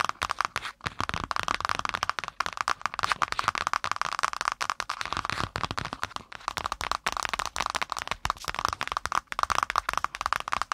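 A spiral-bound notebook with metal wire binding and a brown kraft cardboard cover, laid across the mic, is tapped and scratched quickly with long pointed nails. The result is a dense, rapid stream of sharp, dry clicks and crackly scratches, strongest in the mid range around 1 kHz with some bright edge and almost no low end.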